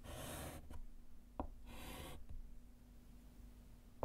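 A gloved hand writes letters with a small piece of white chalk on a small, flat, solid wood-framed slate chalkboard. Two bursts of bright, hissy chalk scratching sweep across the slate, broken up by short, sharp taps as the chalk touches down. A low, steady hum sits underneath throughout.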